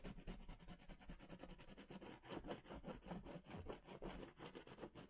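A crayon or pastel is rubbed in tight circles over the center of a large paper sketch pad held upright. It makes a quiet, steady run of soft, scratchy rubbing strokes that pulse with each loop, with a papery low body and a faint bright grain.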